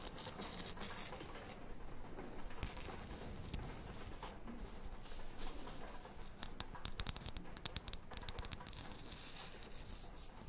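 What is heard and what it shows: Long painted fingernails scratch and tap a thin, round, light wooden disc about the size of a palm, solid all the way through. The result is a quiet, steady patter of dry scratching with quick, bright clicks of the nail tips that die away instantly.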